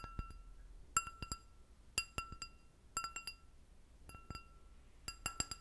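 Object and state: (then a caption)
Stemmed glass goblet. An empty clear glass goblet with a short stem is tapped with long nails in quick clusters of clicks, about once a second, for 14 light hits in all. Each tap gives a sharp clink with a ringing tone near 1.35 kHz and bright high overtones that fade within a moment.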